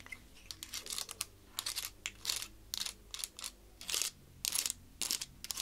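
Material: Wood.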